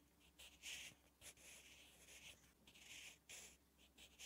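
A sharpened wooden graphite pencil is drawn across a thin lined page of a spiral notebook, lying flat, as it writes Korean letters. Quiet, bright scratching strokes come in short bursts with brief pauses between them, and a faint low hum sits underneath.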